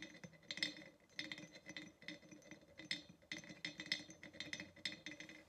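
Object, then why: Ceramic pottery vase. Long nails tap around the neck and rim of a hollow ceramic pottery vase standing upright. The result is a quick, uneven run of bright, clicky taps, each with a short ring near 2 kHz that fades almost at once.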